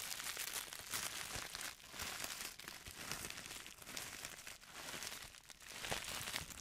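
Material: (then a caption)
Plastic. An empty pink plastic poly mailer bag printed with stars and marked with handwriting is held flat and crinkled and scratched with fingertips and nails. It makes a steady, bright crackling rustle with brief dips and swells, dominated by high hiss and very little low end.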